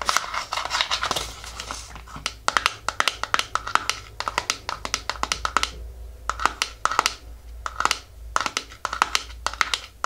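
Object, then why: Small cardboard box. A small, hollow printed black-and-white cardboard nail polish box (Seche Clear), held in both hands with the bottle apparently inside, is tapped and scratched with long nails. Quick, sharp, dry taps with a bright papery click come in bursts between soft scratching and crinkling. The taps stop almost instantly with no ring.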